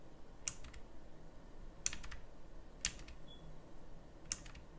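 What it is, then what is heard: Mechanical keyboard key presses. A full-size backlit pink mechanical keyboard with round plastic typewriter-style keycaps is pressed sparsely with fingertips. Four separate sharp, bright clicky key presses sound, each followed by a quick rattle of smaller clicks, over a low steady background hum.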